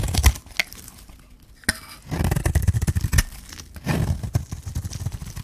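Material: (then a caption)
Soap. A metal blade scrapes and shaves the surface of a hand-held solid green bar of dry soap. Rough, crunchy scraping comes in several bursts, heavy in low rumble, with sharp bright clicks and quiet gaps between strokes.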